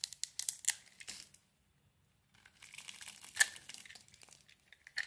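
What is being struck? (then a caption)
Bar of soap. A small blade carves a solid white bar of soap with green coating remnants, held in the hand, shaving off flakes and chips as the bar gets smaller. Crisp, bright scraping and crackling cuts come in quick bursts, pause in silence for about a second, then resume with a sharper snap. No talking is heard.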